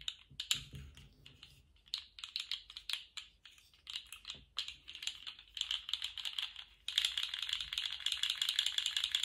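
A colourful jointed plastic articulated slug fidget toy is held in lace-gloved hands and shaken and wiggled, so its hollow segments rattle. Bright, dry plastic clicks come in irregular bursts with short gaps. Near the end they become a denser, louder, continuous rattle.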